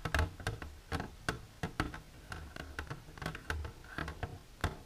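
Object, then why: Plastic container. Long silver nails on one hand tap the front wall of an empty, clear plastic container standing upright. The result is a quick, uneven run of short, dry clicks, each with a hollow low thud beneath a bright tick, dying away almost at once.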